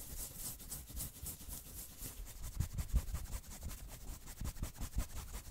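Long nails quickly scratch the front of a worn, dark red patterned knit sweater near the chest and shoulders. The result is a soft, fast, uneven rasping with a bright, hissy texture over low, muffled rubbing thumps.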